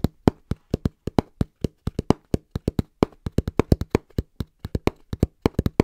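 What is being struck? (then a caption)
Cardboard box. Hands tap fast and rhythmically on a cardboard box, with about 35 separate dull, hollow taps. Each tap is short and low-pitched, with almost no ring and little brightness.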